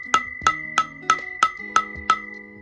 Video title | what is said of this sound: BC Valve Spring install on k24a4 head | that sounds fully seated there